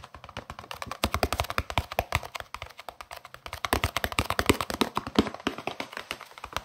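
A long, hollow green plastic case, held upright, is tapped quickly with fingertips and nails. Dozens of short, dry, clicky taps come in a fast, uneven stream with almost no ring, sounding like typing on a keyboard.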